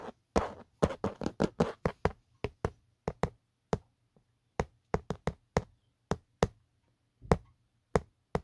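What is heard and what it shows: A fingertip taps and knocks on the textured hard plastic back of an empty, hollow black Otterbox phone case. About 24 short, dull, hollow knocks land in an uneven rhythm, quick and clustered at first, then sparser. Each dies almost instantly with no ring.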